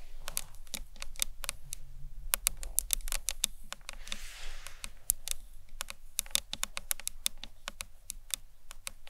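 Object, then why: Acrylic box clutch. A hollow, rectangular green marbled acrylic box clutch stands upright and is tapped with long nails along its top edge and sides. The result is a fast, steady stream of short, bright clicks with almost no ring, over a soft low rumble.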